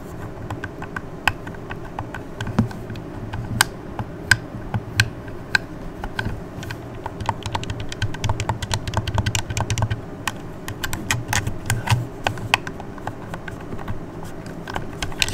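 Long red nails quickly tap and click the D-pad and buttons of a hollow red plastic Xbox controller. Rapid, sharp, bright plastic clicks come in dense irregular bursts over a steady low hum, each click dying away almost instantly.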